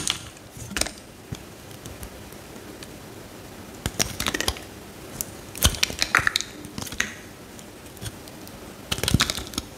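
A solid pale green bar of soap, held in the hand, has thin slices shaved off it with a metal utility knife blade. The result is a series of crisp, bright scraping and crackling cuts with sharp clicks over a quiet, steady background.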